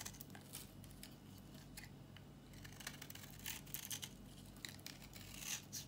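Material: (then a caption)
Soap. A metal utility-knife blade scrapes a solid, dry, old tan-brown bar of soap held in the palm, flaking off crunchy chips. Bright, dry scraping crackles and crunchy flicks come in quick bursts over a steady low hum, with sharper snaps toward the end.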